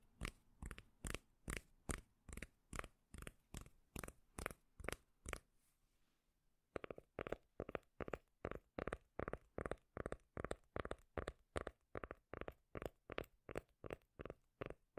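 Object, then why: Cork lid. A round, flat, palm-sized solid cork lid or coaster is held in one hand close to the microphone and tapped and scratched with long decorated acrylic nails. The result is a steady run of quick, dull, bassy taps with short scratchy bursts. The sound pauses briefly around the middle, then resumes at a slightly faster pace.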